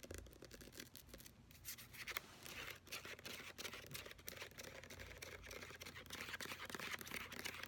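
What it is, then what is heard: Plastic lotion pump bottle. Long nails quickly tap and scratch the sides and shoulder of a large, apparently full white plastic hand-lotion bottle with a brown pump, held in a hand. The result is a quiet, dense, irregular stream of short, crisp clicks mixed with bright scratchy rustling, with little low end.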